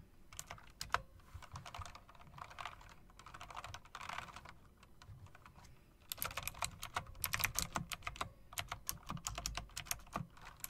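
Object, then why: Mechanical keyboard with round plastic and metal-rimmed keycaps. Long-nailed fingers rapidly tap and press the round plastic, chrome-rimmed keys of a mechanical typewriter-style keyboard. The first six seconds are softer, muffled clicking. After that the clicks turn louder, sharper and brighter, each dying away almost instantly.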